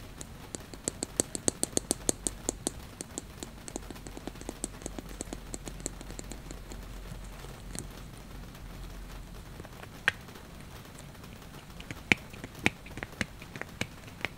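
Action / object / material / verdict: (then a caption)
tap / plastic cosmetic bottle / plastic / none. Long, glitter-painted fingernails tap a hand-sized, hollow white plastic cosmetic bottle of eye makeup remover with a black plastic cap. Quick, bright, dry clicks come in a dense, steady run for the first several seconds. After a near-silent stretch, scattered sharper taps return, for a few dozen hits in total.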